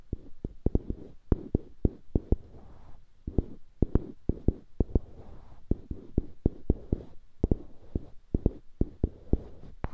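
Two solid light-wood cubes on dark-wood handles, held on either side of the microphone, are scratched and tapped by fingertips on the wood surface. Short, dry, low knocks with almost no ring stand out from a continuous soft scratching texture. The taps come at an uneven pace.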